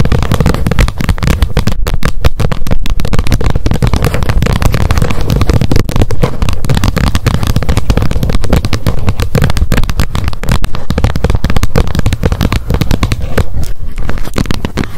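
Long nails tap fast on the edge of the plastic lid of a wet wipes pack held upright. The result is a dense, continuous stream of quick, dry clicks with almost no ring, heavy in the low end and steady in level throughout.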